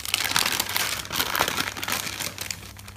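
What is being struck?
Thick paper notebook.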